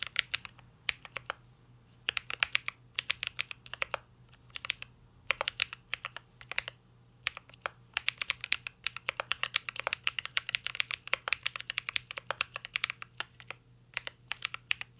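Fingertips of both hands type on a full-size CYBERBOARD R3 mechanical keyboard with an aluminum case, plastic keycaps and Holy Panda switches. Rapid, bright, short clacky key taps come in bursts separated by brief pauses, each tap dying away almost instantly. A faint steady low hum sits underneath throughout.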